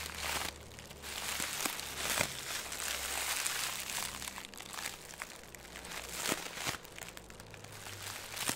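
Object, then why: Plastic film ball. A ball of green crinkly plastic film held in the hands is squeezed and crinkled with the fingertips. Irregular bursts of bright, crackling crinkles come and go in uneven waves, with short sharp snaps between them and a faint low hum underneath.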